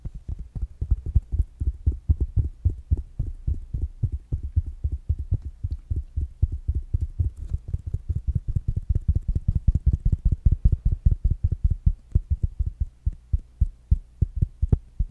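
A small, rounded black smart speaker with a fabric mesh cover is tapped with fingertips and nails in a quick, uneven rhythm. The taps are soft, dull thumps, almost entirely low and deep with very little brightness, and each one dies away almost at once.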